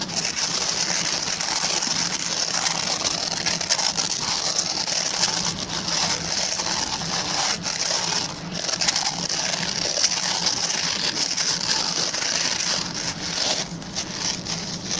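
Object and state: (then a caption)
Plastic bristle brush being scratched. Fingertips and short nails scratch the plastic pin bristles of a hand-sized, oval, white plastic brush. The result is a steady, dense, bright crackling scratch with fast overlapping ticks and a faint low hum underneath, holding an even level throughout.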